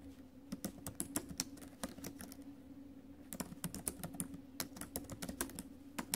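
Fingertips and acrylic nails type fast on the plastic keys of a silver metal laptop, making short, bright clicking taps that die away almost instantly. The taps come in two busy bursts separated by a brief quieter pause, over a steady low hum.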